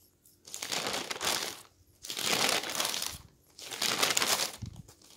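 Hands grab, fold and turn the pages of a stack of thin newsprint newspaper, crinkling the paper. Three bursts of bright, papery rustling rise and fade over about five seconds, separated by short near-silent pauses.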